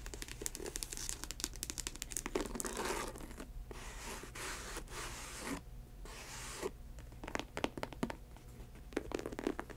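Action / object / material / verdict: scrape / faux leather ankle boot with rubber sole / faux leather / none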